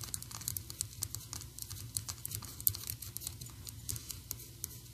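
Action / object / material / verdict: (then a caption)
tap / small painted PVC figurine / plastic / none. Long orange and black acrylic nails tap rapidly on a small, solid, painted PVC Anger figurine held close to the camera. The taps come as a quick, uneven stream of sharp, dry, bright clicks that stop instantly, over a steady low hum.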